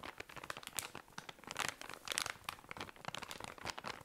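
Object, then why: Cotton pad pack in thin plastic wrapping. Fingers squeeze and crinkle a tall cylinder of cotton pads in thin plastic wrapping. The result is a dense, bright run of quiet crackling and crunching, with sharp rustles that bunch into louder bursts and almost no low end.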